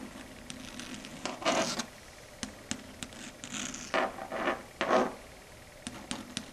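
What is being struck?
Chalkboard surface tapped and scratched with long nails.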